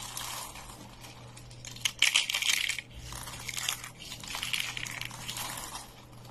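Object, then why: Thin soap sheets and flakes. A stack of thin, brittle dry green soap curls, sheets and flakes is crushed and crumbled by both hands. Dense, bright, dry crackling and crunching comes in uneven bursts, loudest and sharpest around the middle. It eases into softer rustling crumbles over a faint steady low hum.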